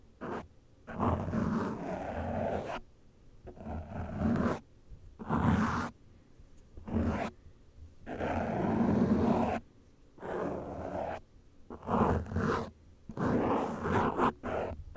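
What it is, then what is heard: Foam microphone windscreen being scratched. A cotton swab is rubbed and scratched over the top of a black foam windscreen on a studio microphone. It makes bursts of close, rough, rumbling scraping that sound almost like a low growl, with short silent gaps between strokes.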